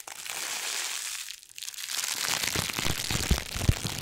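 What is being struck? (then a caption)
Thin plastic packaging film. A thin, crumpled, hand-sized sheet of iridescent holographic plastic packaging film is held in both hands and crinkled and scrunched with the fingertips close to the microphone. A steady bright, hissy crinkle briefly drops away about midway, then returns as denser crackling with low thumps underneath and a couple of sharper pops near the end.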